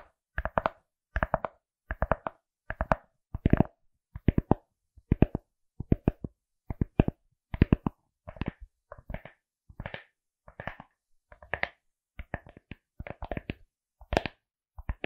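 Long acrylic nails tap and scratch a pink, felt-like fabric-covered glasses case with printed eyes and a rigid hollow shell, held close to the mic. Quick clusters of dry, muffled taps with a low, hollow thump come in steady bursts and stop dead with no ring. Softer, fuzzier scratching patters mix in toward the middle and end.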